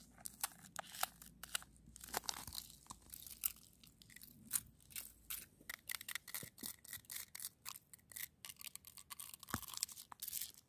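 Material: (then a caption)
Snow ice. Long acrylic nails scratch and rake across a solid, granular frozen snow crust on the ground. The result is a quiet, rapid series of bright, dry crunching scrapes with very little low end, each burst cutting off almost instantly.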